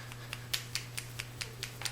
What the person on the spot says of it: shake it until you hear that little ball slap it around inside there